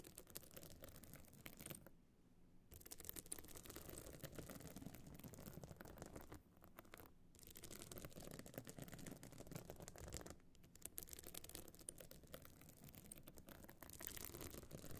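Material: Stone chips.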